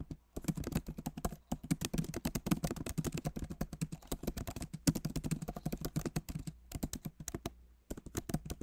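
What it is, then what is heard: Plastic laptop keyboard. Both hands tap rapidly with their fingertips on a backlit MacBook Pro Magic Keyboard, which has plastic keycaps in an aluminum body. The dense run of short, dull, low-heavy clicks has almost no ring. It pauses briefly a few times before the typing resumes.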